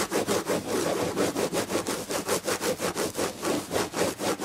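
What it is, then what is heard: Textured fabric upholstery on a chair back. Long red nails scratch the red-and-gold textured fabric upholstery on the back of a chair in quick, repeated back-and-forth strokes. Each stroke makes a dry, raspy scratching sound, with a midrange body and a bright hiss on top, that swells and fades in a steady, pulsing rhythm.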